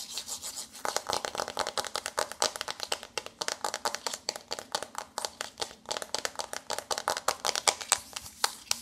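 Long nails scratch and rub rapidly across the textured, wave-embossed pink foil-printed front of a flat cardboard eyeshadow palette held in both hands. The result is a dense run of short, dry, bright scratching strokes with almost no low end.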